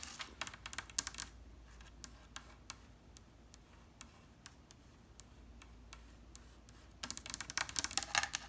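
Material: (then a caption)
Wood. Long red nails tap and scratch quickly on the inlaid top edge and side panels of an octagonal wooden side table with geometric mother-of-pearl inlay and a stack of books on top. Dense bursts of sharp, bright clicks open and close the clip, with sparser, evenly spaced single taps in between. Each tap dies away almost instantly over a faint low hum.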